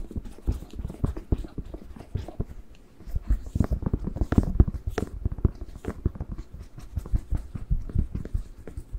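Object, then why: Whole fresh bell pepper. Fingertips tap and fingernails scratch on the glossy skin of a whole, fresh, hollow, hand-sized red bell pepper. A rapid run of dull, low, hollow taps with short soft scrapes between them continues for the whole stretch. The taps die away almost at once.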